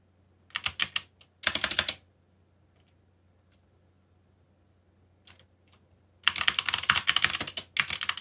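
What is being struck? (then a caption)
Mechanical keyboard with plastic keycaps. Fingertips type on a backlit mechanical keyboard with black plastic keycaps, giving bright, clicky keystrokes with very short decay. Two quick bursts come early, then a near-silent pause with a few isolated taps, then a longer run of fast continuous typing. A faint low hum sits underneath throughout.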